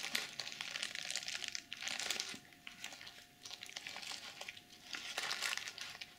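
Fingernails scratch across the plastic sequins of a BH Cosmetics glitter pouch, flipping them from pink to silver. The result is a bright, dry crinkling and scratching made of many quick clicks, coming in bursts with brief quieter gaps between strokes.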